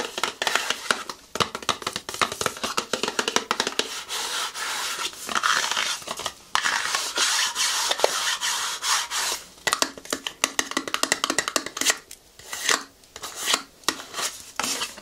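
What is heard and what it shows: A long, hollow, empty pink and white cardboard cosmetics box is held in the hands and tapped and scratched with fingernails. The result is a continuous stream of bright, dry clicks, taps and scratchy rubbing, with no low end and short ringing.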